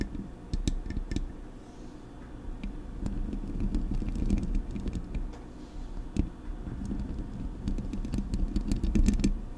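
Long pink acrylic nails tap the hollow body of a silver metal Blue Yeti USB microphone on its stand, then scratch and tap its mesh grille. Sharp, irregular clicks and taps ring briefly over a steady low, boomy rumble.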